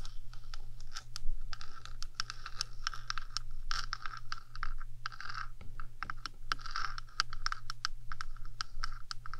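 Long acrylic nails rapidly scratch back and forth across the top of a rectangular, hollow metal 3Dio microphone housing. Dense, quick, bright scratching strokes and clicks come in bursts over a steady low hum.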